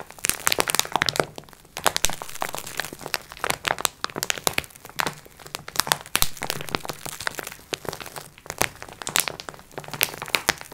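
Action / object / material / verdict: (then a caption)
scrape / plastic film wrapping over sponge cloths / plastic film / none. Long nails on both hands scratch the clear plastic film of a soft, filled multipack of sponge cloths. The result is a steady run of sharp, bright crackles and crinkles with very short decay, coming in dense bursts over a faint low hum.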